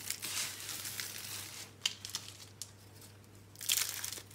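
Hands squeeze, crush and rub a large pile of crushed green and pink dry soap crumbs, making a bright, dry crinkling crunch with almost no low end. A dense rustle at the start gives way to a few sharp isolated crackles, then a louder burst of crunching near the end. A faint steady low hum sits underneath throughout.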